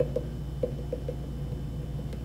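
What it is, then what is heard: Thick spot on a leather-hard clay cylinder. A leather-hard clay cylinder is tapped several times on a thicker spot, giving short, dull, low taps that fade almost at once over a steady low hum. The duller sound shows there is more clay in that area, which still needs trimming.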